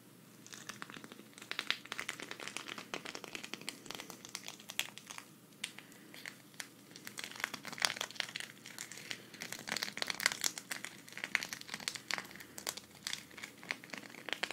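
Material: Sequins.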